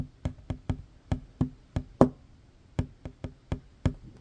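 Fingertips and short fingernails of both hands tap fast on a large, solid, worn wooden tabletop. About a dozen separate, dry knocks come in an uneven rhythm, each with a low woody thump and almost no ring. One tap near the middle lands louder than the rest.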